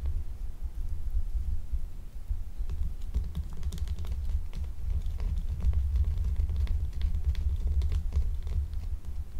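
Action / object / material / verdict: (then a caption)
scrape / glycerin soap bar / glycerin soap / none. A small, solid, translucent blue gemstone-shaped glycerin soap bar is held and scratched with long acrylic nails, leaving its surface scraped. Quick, dry clicking scratches pick up after the first few seconds and continue over a steady low hum.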